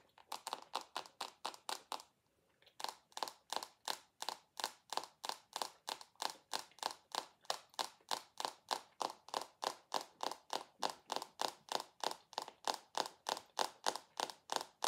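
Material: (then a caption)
Glass. A rectangular dark glass perfume bottle with a gold base is tapped and scratched with long acrylic nails, giving a fast run of about 53 short, crisp clicks with a bright edge and a tone near 800 Hz. The taps come at roughly three per second, pausing briefly near the two-second mark before resuming steadily, and each dies away almost instantly.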